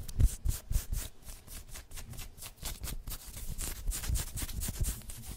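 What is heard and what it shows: Long white nails on both hands scratch and rub the chest and printed badge areas of a worn black pinstriped polyester sports jersey with printed logos. The result is quick, irregular strokes of crisp, hissy fabric scratching over soft low thumps, louder at the start and then settling into a steady rustle.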